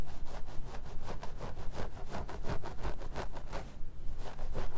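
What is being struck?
Plastic mannequin head with synthetic wig.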